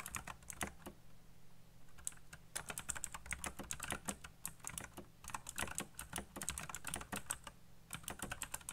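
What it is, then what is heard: Plastic mechanical keyboard. Fingertips type fast on a colorful backlit mechanical keyboard with black plastic keycaps, making a dense, steady run of sharp, bright clicks and clacks. Each keystroke is short and dry, with almost no ring, over a faint low hum.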